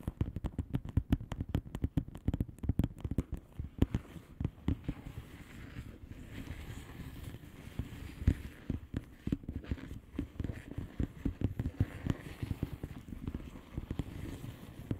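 Long polished fingernails of both hands tap and scratch a flat, hollow plastic bubble-wrap mailer lying on a surface with its air bubbles facing up. A rapid flurry of short, dry clicks and pats, heavy in the low end, fills the first few seconds. The taps then thin out over a soft, continuous scratching texture.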